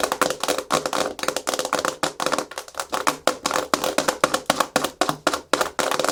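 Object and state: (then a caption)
Hard plastic surface. Fast, aggressive tapping and scratching with natural fingernails on a hard plastic surface. It produces a rapid, uneven run of short, sharp clicks with almost no ring, bright with a faint tone near 500 Hz.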